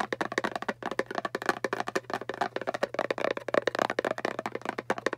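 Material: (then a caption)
Cardboard. Long painted fingernails and fingertips of both hands tap quickly on the lid face of a small, hollow, round kraft cardboard (papier-mâché) box. The result is a rapid, dense stream of short, crisp clicks and hollow knocks with a slight mid-range resonance, each tap dying away almost instantly. A faint, steady low hum sits underneath throughout.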